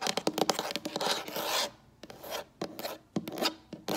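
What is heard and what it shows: Long acrylic nail tips scratch and tap on a solid, light wood-look tabletop. A dense run of quick, dry clicks and bright scratchy rasps is followed by shorter bursts of tapping separated by quiet gaps, with each tap dying away almost instantly.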